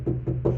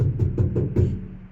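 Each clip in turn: First: muffled truck cab panel with factory sound deadening. Second: hollow-sounding undamped truck cab back panel.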